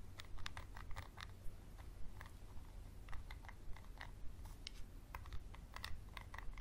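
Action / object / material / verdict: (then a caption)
tap / small textured glass bottle tapped and scratched with a wooden pencil / glass / none. A wooden pencil scratches and taps on a small textured glass bottle with a label, close up. Quick, irregular bright taps and clicks mix with a dry scratching texture over a steady low hum.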